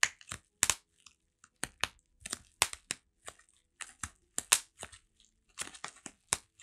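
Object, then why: Plastic bubble wrap around a flat package. Fingertips scratch and squeeze the plastic bubble wrap around a flat Heng:garae album held in one hand. About twenty sharp, bright crackles and pops follow one another in quick bursts, each dying away almost instantly with almost no low end.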